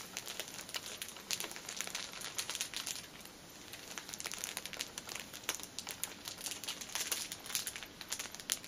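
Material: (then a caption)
Plastic film. A single painted fingernail taps and scratches the top of a cellophane-wrapped pack of paper pocket tissues, a plastic-film-wrapped stack of filled tissue packets resting on a table. It makes a steady stream of crisp, bright crinkles and sharp little ticks with almost no low end. The sound eases briefly around three seconds before the dense crackling picks back up.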